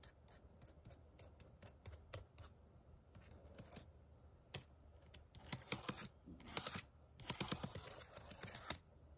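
Plastic keys on a white HP laptop keyboard are tapped with one fingertip and nail, the small keys sitting over a hollow deck. Quiet, sparse, irregular clicks open the clip, then denser bursts of brighter tapping and scratching follow from about five seconds on, with short dry high-pitched ticks and no ring.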